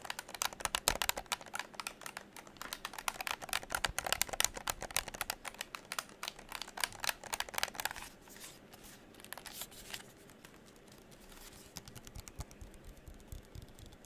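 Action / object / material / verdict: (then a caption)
tap / plastic gamepad buttons and shell / plastic / none. Fingertips rapidly press the buttons and tap the shell of a hollow pink and black plastic game controller held in the hands. The result is a dense run of short, bright, dry clicks and taps for about eight seconds, then quieter and sparser clicking to the end.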